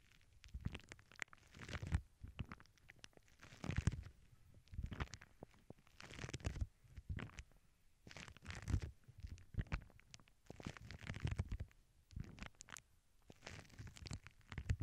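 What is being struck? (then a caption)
Plastic bubble wrap sheet on cork. Long acrylic nails scratch and rub the bubbles of a flat sheet of clear plastic bubble wrap resting on a cork board. Repeated bursts of soft, rumbling friction come with crinkly scratches and faint bright edges, separated by brief quiet gaps.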